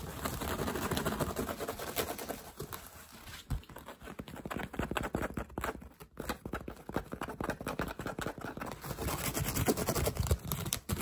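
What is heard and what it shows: Fingertips and short nails rapidly scratch and tap the hollow woven crown of a straw hat held up close. The result is a fast, irregular stream of dry, crackly scrapes and soft, dull thumps with a low, hollow body and almost no ring.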